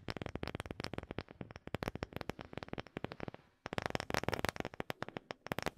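A second wooden object is tapped rapidly with dry, crisp knocks that stop almost instantly, about 36 in all. The taps come in quick bursts with a brief pause around the middle, each one sharp and clicky across low and bright tones.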